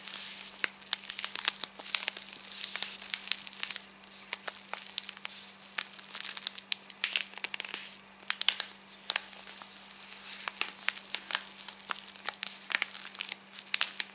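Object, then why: Paper and foil tea sachet. Long painted nails and fingertips crinkle and rub a small, flat Hampstead Tea sachet, a paper and foil envelope held in both hands. The result is a dense, continuous stream of bright, crackly crinkles and sharp little snaps, sitting over a steady low hum throughout.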